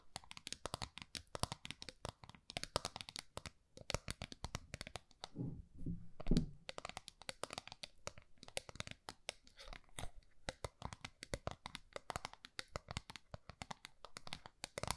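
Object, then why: Small round metal tin. Long nails scratch and tap the surface of a small round gold metal tin held upright in both hands. The result is a quiet, steady stream of rapid, crisp clicks and scratchy strokes with only a very brief ring, and a softer, lower rustling passage around the middle.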